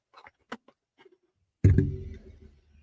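A fake candle in a horror-themed candelabra is flicked to show it isn't real. A few faint light ticks come first, then a louder hollow, low-pitched knock that rings briefly and fades over about a second.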